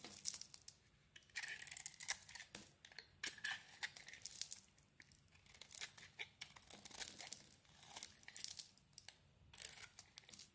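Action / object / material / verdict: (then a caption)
scrape / solid bar of soap cut with a knife blade / soap / none. A utility knife blade carves a dark and green solid bar of soap, with green shavings piling up. Bursts of crisp, bright scraping and crinkly shaving strokes come in short runs separated by quiet pauses, with almost no low end.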